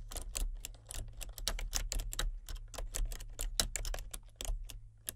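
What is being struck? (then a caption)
Plastic computer keyboard. Fingertips with painted nails type continuously on a full-size plastic computer keyboard with color-changing backlit keys. The result is a steady run of quick, sharp, bright clicks that die away almost instantly, over a constant low hum.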